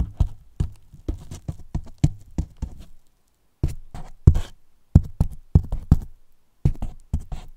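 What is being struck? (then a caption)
Polyethylene foam box tapped with wooden brush handles. Two wooden brush handles tap and scrape along the top edge and sides of a large, white, hollow polyethylene foam box. The result is a series of quick, dull, low, hollow knocks with very short decay, coming in uneven bursts with two brief silent pauses.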